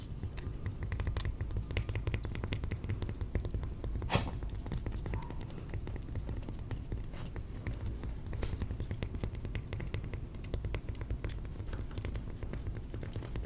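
A piece of cork is tapped over and over in a quick, steady stream of soft, short taps. The taps are dull, low and muffled, and each one dies away almost at once.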